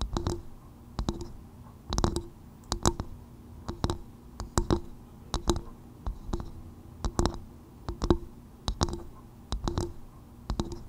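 Long white nails tap on the outer shell of a small, hollow, empty polished brown coconut-shell bowl turned upside down over a fur-covered microphone. Quick, dry, clicky taps arrive in short irregular bursts, each carrying a hollow, woody low tone that dies away almost instantly.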